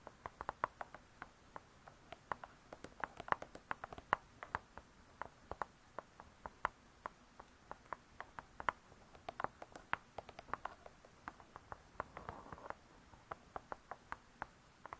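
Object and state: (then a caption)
Spiral-bound hardcover cookbook. Long nails tap and scratch the cardboard cover of a spiral-bound hardcover cookbook. Dozens of quiet, dry, sharp taps with almost no ring land in an uneven patter, their clicky tone centered around 1 kHz. A short scratchy rustle near the twelve-second mark breaks up the tapping.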